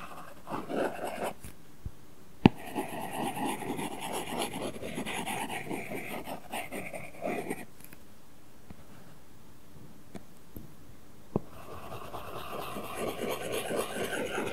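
A stylus tip is rubbed across an iPad glass screen fitted with a matte, paper-like film while shading in green areas. Soft, scratchy, papery strokes come in bursts separated by quiet pauses, with a couple of sharp taps of the tip against the flat, solid screen.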